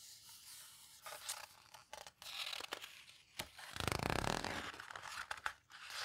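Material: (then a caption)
Paper. Long nails and fingertips rub and squeeze the edges of the heavy, coarse pages of a large open photo book, a "paper houseboat" book, then turn the pages. Dry, crinkly scrapes and short papery crackles come in uneven bursts, building to a fuller, sweeping rustle as a page turns over. Bright, sharp flicks of paper follow.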